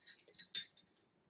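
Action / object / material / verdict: shake / metal jingle bell / metal / none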